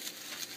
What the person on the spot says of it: you can hear how crispy those are